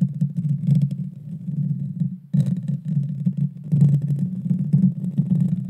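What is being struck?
Metal mesh microphone grille.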